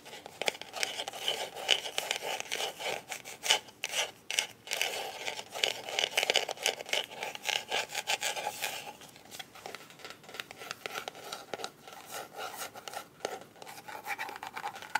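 Long nails scratch and rub across the coated surface of a closed, hollow, black hard-shell plastic glasses case. A dense stream of dry, bright scratching with a hollow midrange body fills the first nine seconds. It then thins into softer, quieter rubbing.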